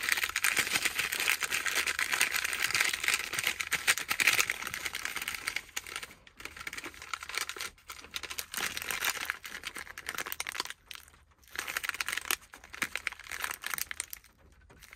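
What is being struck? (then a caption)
Snack bar in a plastic wrapper. A granola bar in a partly opened green plastic wrapper is held in the hand and crinkled and squeezed by the fingers. The result is a dense, bright, crackly rustle, loudest and most continuous for the first five seconds, then broken into softer bursts with brief silent gaps before a final flurry of crinkling that tapers off at the end.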